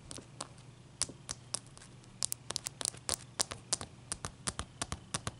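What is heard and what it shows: Long dark-painted fingernails of both hands tap a large, clear, solid ice cube resting on a towel. About two dozen sharp, bright clicks come in an irregular rhythm, each dying away almost instantly, over a faint, steady low hum.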